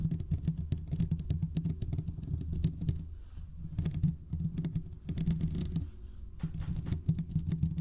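Fingertips of both hands quickly scratch the hollow metal mesh grille of a large condenser microphone, producing a dense, rapid patter of scratchy taps with a heavy low, boomy rumble. Short lulls around the three-second and six-second marks break up the steady scratching.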